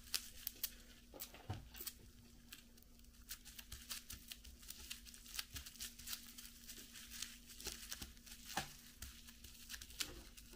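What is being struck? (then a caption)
Plastic bubble wrap sheet. A flat, clear plastic bubble wrap sheet lying on a cloth-covered table is pressed and tapped with fingertips and long yellow nails. It makes quiet, sharp, bright clicks and crinkling pops, with a few louder snaps scattered through. A faint, steady low hum runs underneath.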